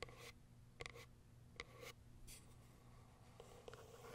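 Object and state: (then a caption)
Cardboard box with plastic window. Long acrylic nails tap and scratch on the top and plastic window of a small white cardboard box. Quiet, dry clicks and brief hollow knocks with a faint ring near 480 Hz come at irregular intervals, separated by soft bright scratching. A low, steady hum runs underneath throughout.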